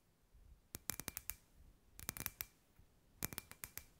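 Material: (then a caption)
Glass. Long white nails tap a hand-sized, hollow, clear glass ball lamp with fairy lights inside. The taps come in three quick bursts of sharp, bright clicks, each with a faint glassy ring, separated by soft pauses.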